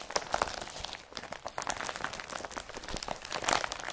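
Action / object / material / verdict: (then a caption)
scrape / woven polypropylene carrier bag / polypropylene / none. Both hands bunch up, crumple and rub a blue woven polypropylene IKEA BRATTBY carrier bag. The result is a dense, continuous crinkling and crunching with bright, crisp highs and almost no low end. Sharper rustles burst out near the start and again toward the end.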